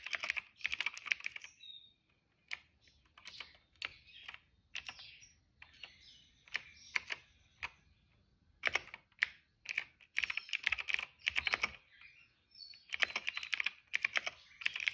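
Fingertips type fast on a cream plastic retro mechanical keyboard with plastic keycaps and a hollow case. Bursts of bright, hollow clacks come in quick runs separated by short pauses, each keystroke sharp and dry with almost no ring.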